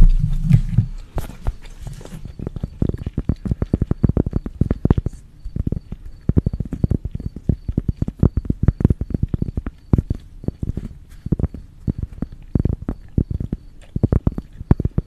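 A thin, flat, palm-sized tan coaster of cork or thin wood, with writing on it, is held in both hands in front of a pink microphone and tapped and scratched with long acrylic nails. A brief brushy scratch opens the clip, then dozens of quick, dull, low-pitched taps follow in uneven bursts, each dying away almost at once.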